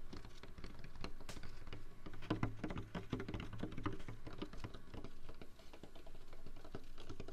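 A large, hollow, apparently empty white Jack in the Box foam drink cup, held in a hand beside a binaural microphone ear, is scratched and tapped with fingertips and nails. It makes a steady, rapid patter of soft, dull taps and scratchy rustles that is heavy in the low end and dies away almost instantly.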